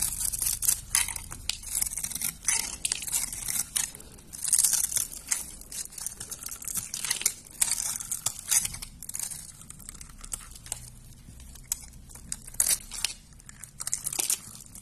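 A knife with a yellow handle carves a solid, hand-sized, rectangular white soap bar with a dark surface layer, scored in a grid pattern and held in the palm over a wooden surface, crunching off small cube-shaped chips. Dense, crisp, bright crunches and crackles come in rapid, uneven bursts with very little low end, each snap dying away almost instantly.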